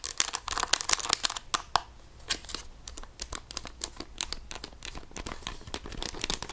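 Long nails tap and scratch across the rubbery keys and plastic casing of a hollow grey plastic graphing calculator. A quick, dense run of sharp, bright clicks mixes with crinkly scratching, louder in the first couple of seconds and then settling into softer, steady tapping.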